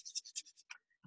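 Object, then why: Paper seed packet with small seeds. A paper seed packet of carrot seeds is shaken, giving six quick, dry, high-pitched rattling bursts as the seeds slide inside. A brief low sound follows at the very end.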